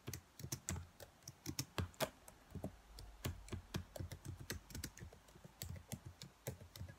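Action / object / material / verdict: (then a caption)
tap / plastic laptop keyboard / plastic / none. Long nails tap and type on the keys of a black plastic laptop keyboard, giving about thirty quick, dry clicks in an uneven rhythm. Each hit has a soft, low thump with a bright, sharp tick on top and dies away almost instantly.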